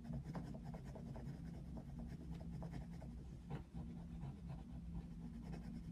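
A wooden coloured pencil is stroked back and forth across a paper colouring book page showing a picture of Mickey Mouse, with the book lying flat on a white desk. The result is a quiet, steady rubbing and scratching over a constant low hum that dominates the sound, with one brief dip partway through.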